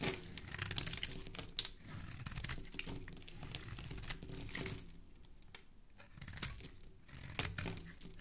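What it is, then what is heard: Soap bar being carved. A utility knife blade is scraped and carved across the surface of a hand-sized solid white soap bar, held in a hand with dark painted nails, shaving off crumbly flakes. A continuous run of crisp, crinkling scrapes and tiny crunches carries bright high hiss over a soft low rumble. Sharper strokes stand out near the start and toward the end.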